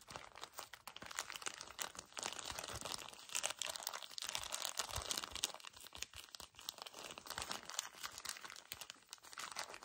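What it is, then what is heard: Plastic-wrapped tissue pack being squeezed. A small, soft paper tissue pack wrapped in crinkly plastic film is gripped and squeezed by fingertips and nails. Dense, fast crinkling and crunching fills the whole clip, bright and high with almost no low end, and the bursts come in rapid, uneven waves.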